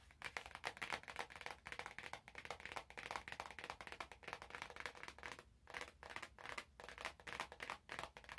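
Fingers crinkle and tap the clear cellophane wrap on an orange cardboard box held close. The result is a steady stream of dry, bright crackles and quick taps with almost no low end and no lingering ring.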